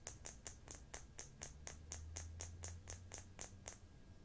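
A small, round, hollow black plastic cosmetic jar with a screw lid, likely partly full, is held above a makeup box and tapped and turned with long fingernails and fingertips. Sixteen sharp, bright clicks ring out at a steady pace of about two per second, each ringing briefly over a soft low hum.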